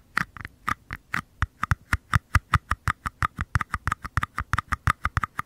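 Fingertips and nails tap and scratch the flat bottoms of two identical small, empty, hollow white paper cups, one held at each microphone capsule with its base facing the mic. About 29 quick, dry taps follow one another in a steady, fast patter over five and a half seconds. Each tap has a soft low thump under a hollow mid-pitched papery knock and dies away almost instantly.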